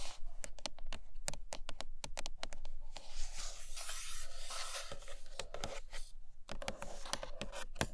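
Long nails scratch the sides and glossy printed top of a large, hollow white iPad Pro cardboard box. Quick, sharp scratching strokes come first, then a steadier, brighter scraping rasp through the middle, and then quick strokes again. A faint low hum sits underneath throughout.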